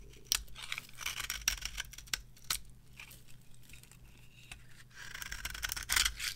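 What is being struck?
Bar of soap scraped with a metal knife.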